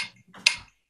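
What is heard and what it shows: A saxophone neck made of standard 70-30 brass (70% copper, 30% zinc) is thumped once with a finger to demonstrate its ring. A faint, muffled touch comes first, then one bright, sharp tap rich in high frequencies around 2.5 kHz. Its ring is very short and fades quickly.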